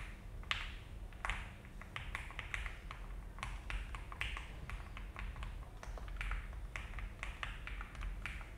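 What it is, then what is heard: Mechanical keyboard with plastic keycaps. An Alice-layout mechanical keyboard with a frosted plastic case and cream and brown ABS keycaps rests on a desk mat while the fingertips of both hands type and tap the keys continuously. Short, crisp clacks with a bright edge come in an uneven, steady stream and die away quickly over a low background hum.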